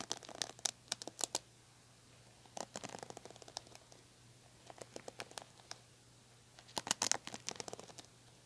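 Long nails and fingertips scratch and pluck the plastic bristles of a red plastic paddle hairbrush. Quick, dry, bright clicks and scratchy crackles come in several separate bursts with quiet gaps between them, over a faint steady low hum.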